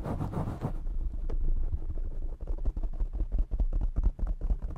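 Short fingernails and fingertips of both hands scratch and tap a soft, fist-sized black foam windscreen covering a large desktop microphone. A brief burst of brighter, rough scratching gives way to a rapid, uneven run of deep, muffled thumps and rubbing. The sound is boomy, dominated by low rumble, with almost no high end.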